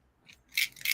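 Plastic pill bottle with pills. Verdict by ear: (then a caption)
Full. A pill bottle with pills inside is shaken, giving two quick, bright rattling bursts of pills clicking against the container. The sharp, high rattle dies away almost at once, with nothing in the low end, and confirms the container holds pills.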